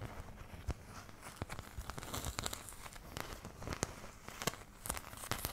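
Long nails continuously scratch the surface of a thin, empty, oval white plastic paint palette held close in front of the mic. The result is a quiet, dry, crinkly scraping texture broken by scattered sharp, bright clicks that stop instantly with no ring.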